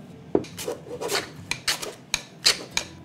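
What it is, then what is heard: Jerusalem artichoke chips not yet crisp. Jerusalem artichoke chips are shaken in an air fryer basket, giving bursts of bright, dry rustling and rattling with short sharp clicks. The chips are not yet crisp and need more shaking and cooking.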